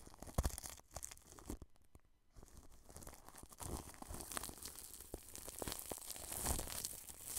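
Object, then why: Plastic cling film wrapped over a microphone. A wide, flat paintbrush brushes and sweeps over plastic cling film wrapped around a round microphone. It makes close, crinkly rustles and scratchy swishes, with a low, muffled rumble underneath and bright crackle on top. After a brief quiet dip around two seconds, the brushing picks up again and grows denser and louder to the end.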